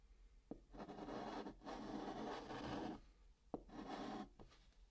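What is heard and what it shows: A white chalk stick writes numbers on the flat top of a brown cardboard box, making dry, raspy scratching strokes. Several sustained scrapes are separated by brief pauses, with short taps as the chalk touches down. The sound is mostly midrange with a faint bright hiss.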